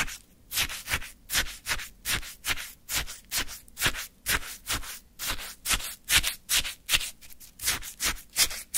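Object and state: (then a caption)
Frozen orange sherbet scraped in a paper cup. A wooden stick scoops and scrapes through icy orange sherbet in a small paper cup. The result is a steady run of crisp, gritty scraping strokes, about two or three per second, with bright, high icy crunch.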